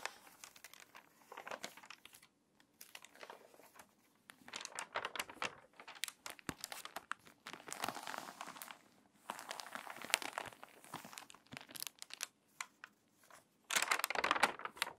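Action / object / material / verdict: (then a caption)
scrape / paper magazine pages / paper / none. Long nails scratch across the pages of a water-damaged paper magazine, then a crinkly page is turned. Dry, bright crinkling and scratching sounds come in bursts with short pauses, and a louder rustle rises near the end.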